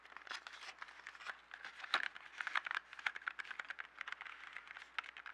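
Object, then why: Small cardboard box filled with colored pencils. A small yellow cardboard box holding 12 colored pencils, hollow and filled with pencils, is held up, then tapped and scratched on a table with fingertips and nails. Dense, dry scratching and crinkling fills the clip, broken by quick, sharp taps with a bright midrange edge. Each tap dies away almost instantly, with no low thump.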